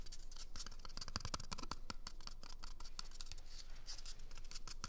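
A small, empty, hollow brown cardboard toilet paper tube is held close to the microphone and scratched with fingernails. The result is a steady run of dry, crackly scratching strokes with bright, papery rasps and a dull hollow rumble underneath.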